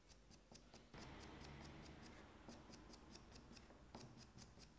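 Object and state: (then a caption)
Leather-hard clay jug being scored. A pointed needle scoring tool with a wooden handle repeatedly scratches and scores the clay around the round opening in the domed top of a medium-sized, hollow, unfired leather-hard stoneware clay jug body while fingers steady the jug. Quiet, bright, crisp scratching clicks repeat in a loose rhythm over a low, steady rustling bed that swells after the first second.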